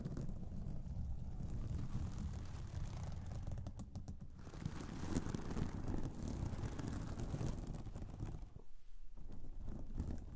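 Long acrylic nails rapidly tap and scratch across a soft pillow covered in reversible pink sequin fabric. The result is a steady, dense stream of quick, dull clicking and rustling, mostly low and muffled, with a brief near-pause close to the end.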